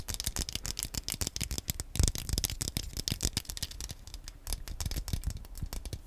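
Fingernails rapidly tap and scratch the analog stick area and shell of a small, black, hollow plastic Wii Nunchuk controller held in both hands close to the mic. The result is a dense stream of dry, quick clicks and scrapes with bright, crisp ticks over a dull low thump, each stopping almost instantly with no ring.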